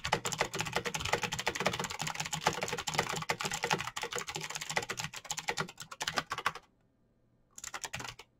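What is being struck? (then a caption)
Plastic mechanical keyboard. Fingertips type fast on the keycaps of a black plastic mechanical keyboard with clicky switches, producing a dense stream of sharp, bright clicks. The typing stops briefly near the end, then resumes in a short final burst.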